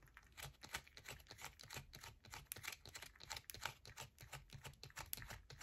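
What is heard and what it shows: A palm-sized solid yellow bar of soap held in both hands is scratched rapidly with long nails, with shavings falling onto a purple mat. The clip is a dense run of quick, crisp scratching and tapping clicks with bright, papery high frequencies and soft low thuds beneath.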